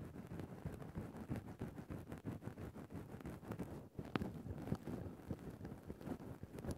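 A thin bamboo stick pokes and scratches the top of a grey synthetic faux-fur microphone windscreen. It makes a dense, muffled rustling and scraping heavy in the lows, with quick soft taps throughout and a brief pause just before the four-second mark.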